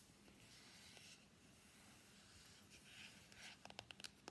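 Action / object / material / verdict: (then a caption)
tap / small cardboard box / cardboard / none. Fingertips and nails scratch and tap the top and sides of a small, hollow, closed white cardboard iPhone X box held on a mat. A soft, steady papery scratching hiss fills most of the clip, then about six sharp, hollow taps click out near the end.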